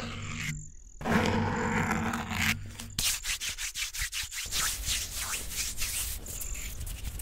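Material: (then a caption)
Foam. Fingertips and short nails scratch and rub the soft, porous black foam windscreen covering the metal grille of a silver condenser microphone, first with one hand and then with both. A dense, close, broadband rubbing opens the clip, then gives way to a rapid series of short, bright scratching strokes over a low rumble.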